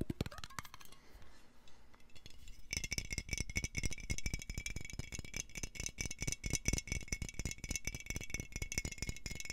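A medium, clear, hollow glass jar with a metal screw lid is held upright in both hands close to the mic, then shaken and turned. A few scattered clicks and taps for the first couple of seconds give way to a strong, dense, rapid rattle with a bright metallic ring over deep low thumps.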